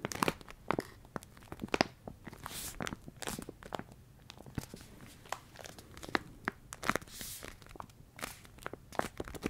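A Ben's Original plastic rice pouch, full of rice, is squeezed, crinkled and tapped with the fingers. Sharp crackly crinkles and soft taps come in quick irregular bursts over a low rustle of shifting grains. The sound stays quiet and close, with bright, dry clicks that stop dead with no ring.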